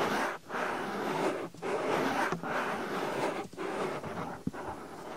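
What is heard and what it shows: Fingers with long nails pinch and rub the flap of a white, soft silicone binaural microphone ear. A steady, fast, breathy rubbing and scratching noise runs in bursts broken by brief pauses, and a sharp little click comes near the end.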